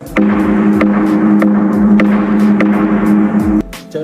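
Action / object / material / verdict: knock / natural gong stone rock formation / rock / hollow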